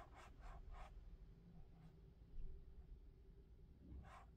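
Fingertips rub and tap the foam surface and strap of a lavender molded-foam clog held close to the microphone. Soft, brushy scuffing strokes come in short bursts over a quiet, steady low hum. The taps are muffled and dull, with almost no ring.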